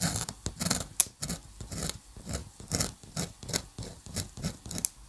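A metal dip pen nib is scratched rapidly across a flat sheet of white drawing paper in dense hatching. Short, bright scratchy strokes repeat in quick bursts, each with a soft low rub underneath and almost no ring.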